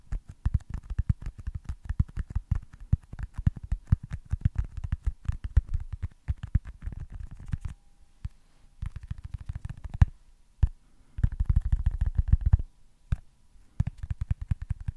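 Fingertips tap rapidly on a small, solid white foam baseball stress ball, producing a dense run of soft, dull, low thumps with almost no ring. The tapping comes in quick bursts separated by short pauses.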